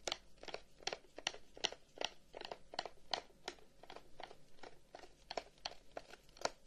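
A long, hollow, carved wooden incense box with flower cutouts and an om inlay is held up and tapped and scratched along its side with the fingertips. A quiet, steady run of short, dry, crisp taps mixes with bright, scratchy rasps that die away almost instantly, with no ringing.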